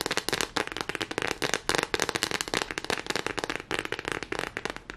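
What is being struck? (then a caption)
Textured silicone pad. A thin, solid lime-green hexagonal silicone pad, smooth back side up, is scratched and tapped rapidly with fingernails. The result is a dense, fast stream of short, dry crackling taps and scratches with a bright, mid-to-high character and almost no low end.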